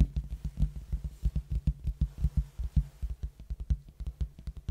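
A large, hollow red cardboard box held tilted in front of the mic is tapped and scratched with fingertips on its face. About 24 quick, deep, hollow thumps land in a steady patter with faint scratchy texture, each dying away almost at once.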